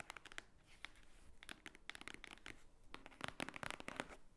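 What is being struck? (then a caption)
Thick stack of paper pages. Long painted nails tap and scratch across the top of a large, thick, solid block of white paper pages lying on a wooden table. The result is a quick, uneven run of short, dry clicks mixed with soft papery scraping and brushing, bright and crisp with little body.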